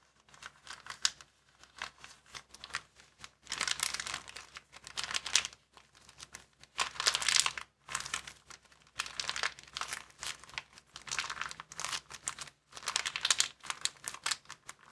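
Fingers fold and crumple a small, empty white plastic bag on a table and in the hands. Bright, dry crinkling comes in dense bursts of crackles, with louder stretches between quieter pauses. There is almost no low end.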